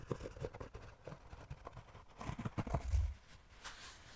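A thin, flat, rectangular solid cork sheet is held in front of the microphone while its surface is scratched and tapped with fingertips and nails. Soft, dull taps and light scratching come in uneven bursts, mostly low and muffled, with a heavier thump near the end.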